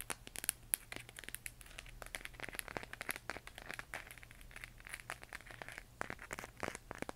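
Long nails tap and scratch rapidly across a large, hollow plastic LED moon lamp glowing pale yellow-green as it is held in the hands. The result is a dense, quiet stream of short, sharp clicks and crinkly scratches with a bright, crisp top end and almost no ring, over a faint steady low hum.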